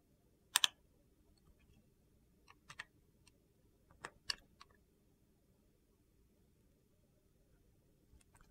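A metal blade shaves thin slices off the face of a solid, translucent purple glycerin soap bar. Sharp, bright, crisp clicks come in short clusters, some doubled, with quiet pauses between them. Each cut stops almost instantly, with no ring and almost no low end.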